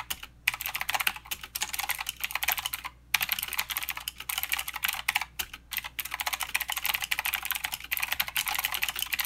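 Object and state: Mechanical keyboard with clicky switches.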